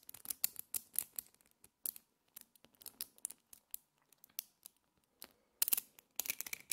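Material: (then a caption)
Steel. Small multicolored solid metal magnetic spheres, held as a clump in the hands, are squeezed, broken apart and clicked together with fingertips and long painted nails. Over twenty quiet, sharp, bright clicks and ticks follow one another with no ring. Short gaps separate them, and they bunch into quicker clusters toward the end.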